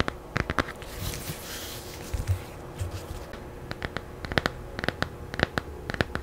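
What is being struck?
Laminated cardboard hardcover picture book.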